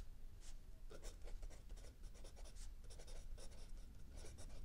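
A mechanical pencil writes in steady handwriting strokes on lined paper in a spiral notebook resting on a wooden desk, while the other hand rests on a book. Soft, bright graphite scratches come in short, quick bursts over a constant low rumble.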